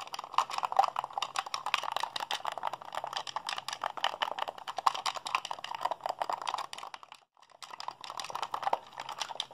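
Fingertips and thumbs rapidly mash the buttons of a hollow, white plastic Xbox handheld controller held in both hands. The result is a dense, fast stream of short, dry plastic clicks and taps centered around 1 kHz with some bright edges, alongside a faint steady low hum. The clicking breaks off for a brief pause near the seven-second mark, then resumes.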